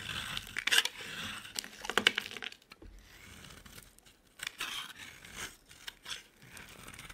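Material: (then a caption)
Soap. A utility knife carves the end of a solid purple bar of soap in repeated scraping cuts. Crisp, bright scraping and crunching bursts stand out over quieter stretches, while shavings pile up.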